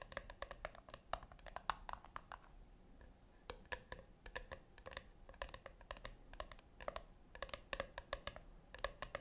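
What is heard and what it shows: Long fingernails tap rapidly on the top lid of a flat, round brushed-metal tin that seems hollow. The taps are quick and quiet, with a light metallic click and a short tinny ring centered near 1.1 kHz. They come in uneven bursts, with a brief lull around the three-second mark.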